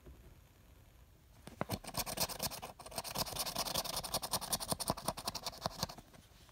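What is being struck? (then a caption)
Paper scratch-off lottery ticket scratched with a coin. A copper coin, held between the thumb and fingers, scratches the remaining coating off a mostly scratched, flat, thin-card paper scratch-off lottery ticket. After a quiet opening of about a second and a half, a fast, uneven run of dry, bright scratching strokes begins. It continues to the end and eases off slightly at the close.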